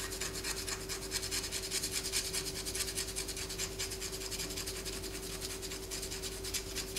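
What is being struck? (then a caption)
Bar of soap. A palm-sized solid bar of white soap is held in the hand and scratched with long fingernails, with the shavings falling onto a paper poster. The result is a steady, bright, raspy scraping in quick uneven strokes, with a faint low constant hum underneath.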